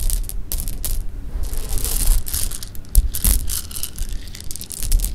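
Fingertips drop and stir a pile of small, solid, hard-shelled sugar-coated jelly beans resting on pink cloth. The beans make a steady stream of quick, bright clicks and light crunchy rattles over a low, dull rumble, with a few sharper taps standing out.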